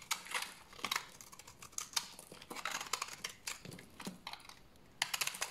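A large, solid, dried tan bar of soap is held in the hand and shaved with a utility knife blade. The result is a rapid run of crisp, dry scraping clicks and short rasps, bright and high with almost no low end. They come in uneven clusters with brief pauses between strokes.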